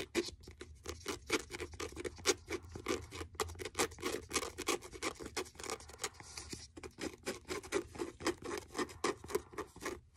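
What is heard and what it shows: Fingertips and nails tap and patter on the cover of a blue faux leather hardcover notebook. The taps are quick, dry and irregular, about four per second, each with a dull mid-pitched thud and a bright clicky edge that dies away almost at once.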